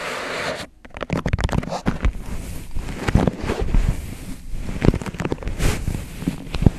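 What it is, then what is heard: Paper cup tapped. Fingertips tap rapidly around the sides of an empty white disposable paper cup, hollow and thin-walled, turned upside down over the microphone. The result is a quick, irregular run of dull, low, boomy thumps with almost no ring, over a soft rustling hiss. A brief near-silent gap comes just before the first second.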